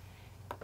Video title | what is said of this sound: Unlisted - Survival Weekend - Food Preservation | This is nice and tight. So I knew all these jars sealed.